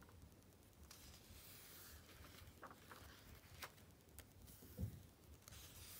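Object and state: Glossy paper magazine.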